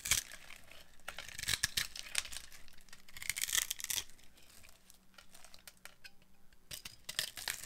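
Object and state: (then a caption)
Dry glycerin soap bar. A metal blade carves a dry, solid, translucent yellow glycerin soap bar with a grid-scored surface, breaking off crunchy crumbs. The clip is a series of crisp, bright crunching and scraping bursts, loud and then softer, with dry, instant decays and little low end.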